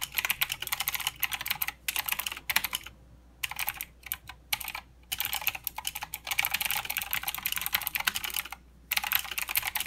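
Fast typing with the fingertips of both hands on a mechanical keyboard with plastic keycaps and blue switches. Dense bursts of sharp, bright clicks are broken by brief pauses.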